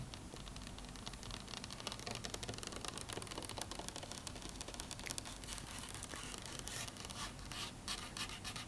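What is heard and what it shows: Fingernails tap and scratch across a faux wood table, making a dense run of quick, dry clicks and rasping scrapes. The sound is bright and close, with each tap dying away almost instantly over a faint low rumble.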